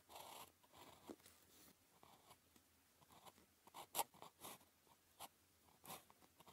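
A blue ballpoint pen writes characters on a flat sheet of thin paper with a red grid, its tip scratching across the surface. Short, quiet, dry scratches and strokes come in quick succession, with a few brighter, sharper strokes standing out, over a faint low hum.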